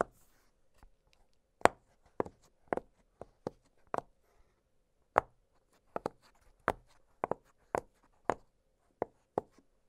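An octagonal blue silicone pop-it fidget toy with hollow bubbles lies flat on a glittery surface while fingertips press and pop the bubbles. Soft, short, dry pops come in an irregular series, each with a quick, muted snap and almost no ring, set against faint quiet in between.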